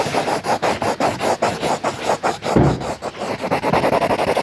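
A yellow crayon, held in the fingertips, scribbles and rubs densely inside a drawn circle on a lined paper notebook page. It makes a steady, rapid series of dry, scratchy back-and-forth strokes with a papery rasp. One heavier, lower stroke lands near the middle.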